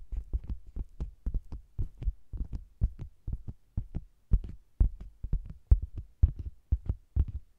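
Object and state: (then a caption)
Faux leather cosmetics bag. Long green-painted nails and fingertips tap and scratch the flat, red printed end panel of a round, cylindrical faux-leather (PVC) cosmetics bag with a zebra-striped body, hollow with a microphone inside. The result is a rapid, irregular run of deep, muffled thumps, almost entirely low in pitch, each dying away almost instantly, with faint scratchy edges between them.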